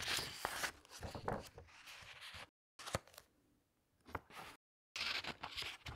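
Hands with long nails lift, turn and press the glossy paper pages of a large hardcover book. Bright, crisp rustles and crinkles swell and fade, with soft taps and brief stretches of complete silence between page movements.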